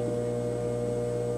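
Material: Nothing is struck.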